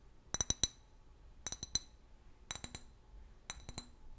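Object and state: Glass bottle.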